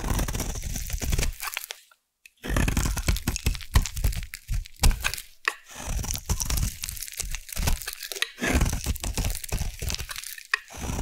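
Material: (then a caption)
Soap. A metal blade scrapes along the edge of a solid light blue bar of soap held in the hand. It makes dense, crunchy shaving and crackling sounds with a low, heavy body, broken by a short silence near two seconds and brief pauses before the scraping resumes.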